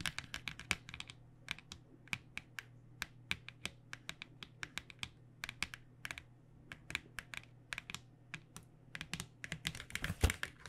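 Long nails tap rapidly on the printed back of a flat cardboard box filled with paint pens. Quick, dry, bright clicks come in irregular bursts with almost no ring, over a steady low hum. One sharper, louder tap lands near the end.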